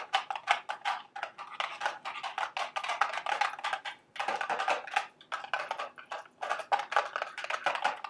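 A small, hollow, printed cardboard candy box shaped like a milk carton stands on a table and is tapped rapidly with long, sharp acrylic nails. The result is a dense stream of light, dry, hollow clicks and taps with a woody, mid-range tone, short pauses between bursts, and almost no low end.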